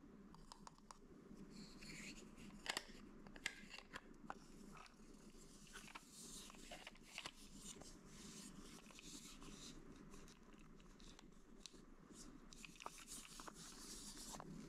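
A small, hollow, white cylindrical plastic jar with a round lid is held in the hand and tapped and scratched with fingertips and nails. Quiet, crisp clicks and dry scratching rasps come through, with brief sharp taps standing out over a steady low hum. The sound is bright and short with almost no ring.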